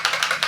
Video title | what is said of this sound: Meltproof Makeup for the Pool, Beach and Hot Weather! | You can hear the ball inside there that really distributes the pigments.